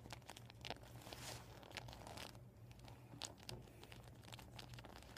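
Fingertips and nails tap and scratch across a flattened, empty, deflated PVC vinyl beach ball. The result is a steady stream of soft crinkling, scratchy rustles and bright ticking taps over a faint low hum.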